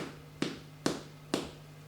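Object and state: Hollow-sounding baked soda bread.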